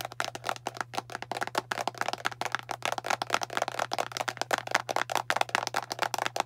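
A fingernail taps rapidly on the label side of a hollow blue plastic deodorant stick container with its cap on. About 37 short, dry, hollow clicks come in quick succession, with a mid-pitched plastic knock and a bright edge. A faint steady low hum runs underneath.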